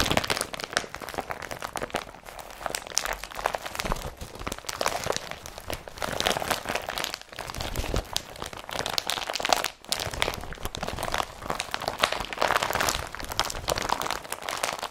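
An empty blue IKEA BRATTBY carrier bag, made of woven polypropylene plastic with yellow straps, is crumpled and rubbed by fingers and hands. It produces steady, dense crinkling and crunching with a bright, papery rustle and brief louder crackles throughout.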